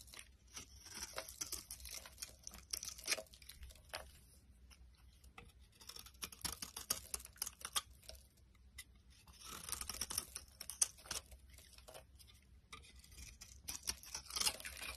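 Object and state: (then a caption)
Dry soap bar being carved. A solid rectangular pink bar of dry soap, held in the hand, is scraped and carved with a metal utility knife blade, shaving off crumbly flakes. Dry, bright scraping and crunching comes in bursts of quick, crackly strokes, separated by short quiet pauses.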